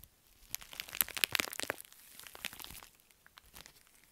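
A pink metallic foil bubble mailer is twisted and crushed in the fists, then held flat and rubbed. Bright, sharp crinkling and crackling builds into a dense burst of crunches early on, then gives way to softer, scattered rustling as the flattened mailer is rubbed.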